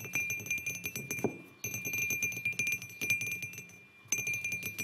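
Fingertips and short nails tap the sides of a hollow white glazed ceramic mug resting on a wooden table. Quick, dense runs of bright clinking taps ring with a steady high tone, then briefly pause before the tapping resumes.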